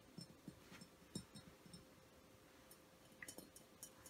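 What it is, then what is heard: Frosted glass diffuser tapped. Fingertips and nails of one hand tap along the body of a hollow, vase-shaped frosted glass essential oil diffuser, about 25 cm tall and lit from inside with changing colours. About ten quiet, short glassy ticks with almost no ring come in two loose clusters, over a faint steady hum.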